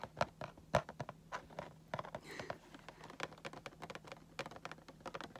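Fingertips tap on the clear plastic window of a cardboard Funko Pop box with a vinyl figure inside. A quick, irregular run of light, dry, clicky taps plays over a faint steady low hum, and each tap dies away almost at once.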